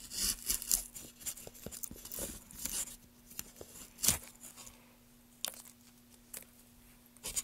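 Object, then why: Pale wooden block. Gloved hands hold a solid pale wooden block while a gouge is drawn along its length, raising curled shavings. Bright, dry scraping and tearing strokes come in short bursts, busy at first and then sparser, over a faint steady low hum.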